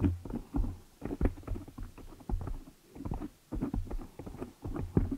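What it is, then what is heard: Foam microphone windscreen. Long nails scratch and tap the black foam cover on a large desktop microphone head. The result is irregular bursts of deep, muffled thumps and soft scratchy rustling, mostly low and boomy with almost no high sound, each tap dying away quickly.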